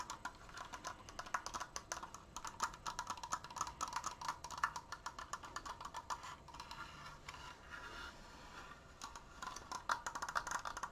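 Nails and fingertips tap fast on the wooden slats of a large, open triangular triforce frame held upright. The result is a dense, quick patter of dry, clicky knocks centered in the midrange around 1 kHz, with almost no ring. The tapping eases into softer, steadier rattling midway through, then picks back up sharply near the end.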